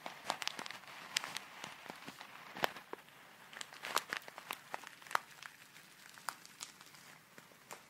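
A small clear plastic zip bag full of tiny colourful foam beads is held up and shaken, then crinkled with fingertips and long nails. Quiet, dense crisp crinkles and sharp ticks come in irregular bursts, bright and papery with almost no low end. Each snap dies away instantly.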